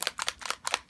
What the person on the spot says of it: You can hear there's a mixing ball in there to make sure your pigment gets mixed together.